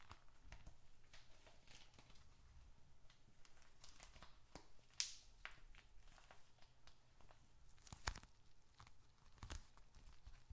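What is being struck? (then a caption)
Leather wallet holding paper. A small, hollow, dark red leather bifold wallet holding bills and receipts is squeezed, scratched and tapped with bare fingertips and short nails. Soft, quiet crinkling from the paper inside runs throughout, broken by sharper, brighter crackles and taps over a low rumble.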